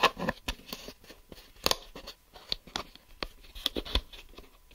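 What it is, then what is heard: Plastic geometry set case. Fingertips and nails tap and scratch the smoky grey back of a closed, hollow clear plastic geometry set case held in both hands. Short, dry, bright clicks and light scratches come in an irregular run of taps, each dying away almost instantly, with soft rustling between them.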